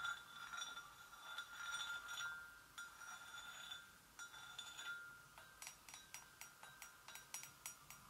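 Gentle taps on a porcelain gravy boat make clear, bright ceramic clinks with a short ring. The taps come slowly and softly at first, then turn into a quicker, evenly spaced series of light clicks toward the end.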